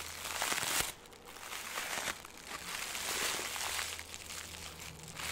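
A ball of green crinkly plastic film, compressed smaller, is crushed and crumpled between the fingers. It makes dense, bright crackling and crinkling in continuous bursts, with a brief dip in loudness around the first second before the crinkling swells again.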